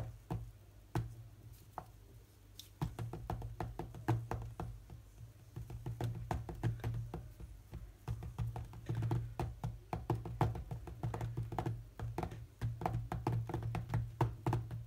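Fingertips tap rapidly across the glass touchscreen of a large tablet lying flat and running the rhythm game Arcaea. The result is a fast, uneven stream of short, dull thuds and clicks that die away almost at once, over a steady low hum.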